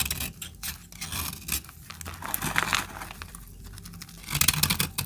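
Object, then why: Bar of soap cut with a metal blade. A metal blade scrapes and cuts a small remaining piece of solid, dried orange soap held in the hand. It makes a steady run of bright, dry scratching and crumbly rasping, ending in a louder, harsher burst of scraping.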